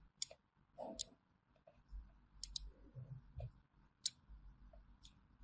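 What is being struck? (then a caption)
Solid bar of soap cut with a thin metal blade. A small thin metal blade scores diagonal grooves into a solid orange bar of hand soap held in the hand, scratching and cutting into it. Short, sharp, bright clicks and ticks stand out over a quiet, low background, each dying away almost instantly.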